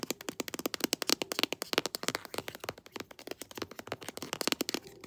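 A pink "Sweet Pea" textured plastic lotion tube, laid flat with its back label up, is tapped and scratched with long nails. A fast, steady stream of dry, crisp clicks and scrapes sounds bright and thin, with almost no low end. Each tap dies away almost instantly.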